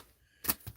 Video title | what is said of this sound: Shipping Orders. What Sold? | It's not shifting. That little noise you heard is just the figure inside shifting within the package